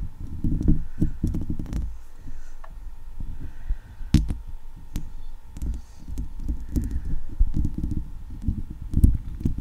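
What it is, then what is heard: Metal mesh microphone grille being scratched. Long leopard-print acrylic nails on one hand scratch and tap across a hollow steel wire-mesh microphone head with several fingers at once. The result is a steady stream of deep, muffled rumbling scrapes and soft thuds, broken by a few sharp, bright clicks.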